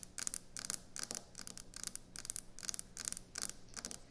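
Fingernails tap and scratch quickly on a solid white speckled quartz or stone kitchen countertop. They make bursts of bright, crisp clicking and scraping that repeat at a fast, uneven pace. A faint, steady low hum sits underneath.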